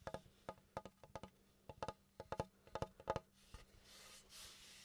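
Fingertips and nails tap a large, flat, solid pine plank with a visible knot, held upright close to the mic, making a quick run of dry, hollow knocks with a woody tone around 540 Hz that die away almost at once. The taps then give way to a soft, bright, hissing scratch of nails across the wood surface.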